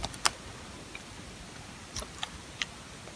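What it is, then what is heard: Sulfur soap bar scraped with a blade. A metal box-cutter blade scrapes across the face of a solid, dry green sulfur soap bar held in the hand, peeling off thin curls. Six short, bright, crisp scraping ticks stand out over a quiet background, each dying away almost instantly.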